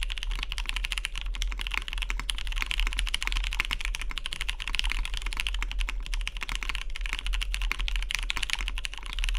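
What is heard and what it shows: A Matrix 2.0OG tenkeyless mechanical keyboard with a hollow cyan anodized aluminium case, lubed vintage MX Brown switches and cream dye-sub plastic keycaps sits on a deskmat as fingertips type fast on the keys. A dense, steady stream of crisp clacks is heard, bright around 2–3 kHz, over a constant low hum.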